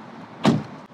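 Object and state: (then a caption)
Solid-sounding car door closing. A car door on a Huawei Aito M5, a 2.3-ton car, is closed with its window open. One solid, low thud with a short, full body rings out briefly against a quiet background. It sounds full and weighty, as expected.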